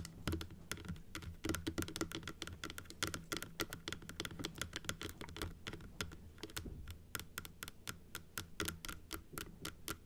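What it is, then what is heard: Plastic dental teeth model. Long nails tap quickly on the blue top and the teeth of a large, hollow plastic dental model, which is closed and held in both hands. A steady stream of short, bright, clicky taps is heard, each dying away almost instantly over a faint low hum.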